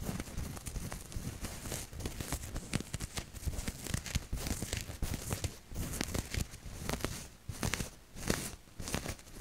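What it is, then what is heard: Cotton t-shirt. Long nails scratch across the chest of a maroon cotton t-shirt with a printed maple leaf, held up in front of the mic. The result is a dense run of dry, crinkly scratching and rustling bursts with a soft low rumble and bright fabric hiss, swelling and easing in short strokes throughout.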